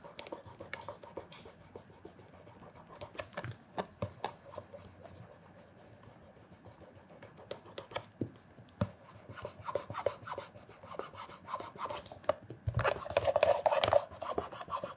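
Fingertips wrapped in cloth rub small circles over the heel and toe leather of a hollow black leather loafer held in one hand. The result is a soft, steady brushing and scratching with quick, irregular clicks and scuffs throughout. The rubbing grows louder and brighter near the end.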